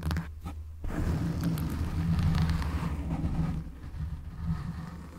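Fingertips and nails scratch and rub a black foam windscreen on a microphone. The result is a continuous, muffled, deep rumbling scrape, with a brief quieter gap near the start before the rough rubbing swells and fades unevenly.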